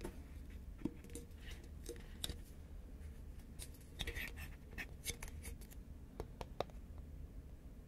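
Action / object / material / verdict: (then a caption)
tap / composite paperboard chip can / paperboard / none. Fingernails tap along the side of a tall, hollow, cylindrical composite paperboard Pringles chip can held horizontally in both hands. The result is a quiet, irregular series of short, dry clicks with bright edges and a faint hollow knock. A steady low hum sits underneath.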